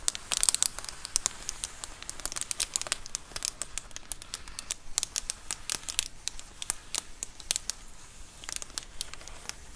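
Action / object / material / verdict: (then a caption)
scrape / plastic bubble mailer / plastic / none. Long acrylic nails scratch along the top edge of a large white plastic Amazon Prime bubble mailer lying flat. A steady run of sharp, bright crinkling scratches and quick ticking clicks sounds over a faint hiss, with almost no low end or ring.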